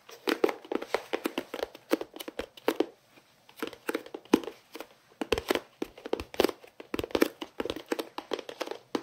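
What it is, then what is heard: Plastic storage case. A hollow, elongated white plastic storage case with a green lid and a printed fruit pattern is held in both hands and tapped and scratched with fingertips and nails, held close to the mouth. Dozens of quick, dry, hollow taps around 300 Hz come in clustered bursts with scratchy rustles between them. Each tap dies away almost instantly.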